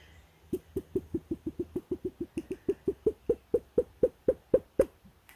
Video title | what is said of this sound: Unboxing: I've waited a literal year for this! | there is no crackle in that at all this is a solid fleece